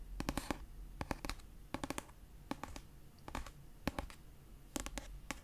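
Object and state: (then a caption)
Paperback book tapped with fingernails. Long purple nails scratch and tap the paper cover of a pastel paperback copy of "Red, White & Royal Blue," a solid paper book. Quick bursts of sharp, dry clicks reach up into the bright range and stop almost instantly, set against a soft low rumble and faint scratchy rustle between the bursts.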